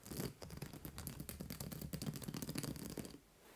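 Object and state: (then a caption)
Plastic-spiked acupressure mat. Long nails tap and scratch the white plastic spike discs on a large purple fabric acupressure mat. A dense run of quick clicks and scratchy scrapes continues for about three seconds, then stops, leaving a faint low hush.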